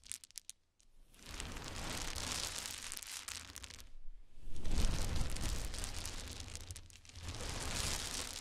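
A pile of many small solid wooden cube chips on a towel is raked and swept with fingers and nails. A few light clicks open the clip, then dense, bright rustling clatter comes in long sweeping bursts, with brief pauses near 1, 4 and 7 seconds, over a soft low thud.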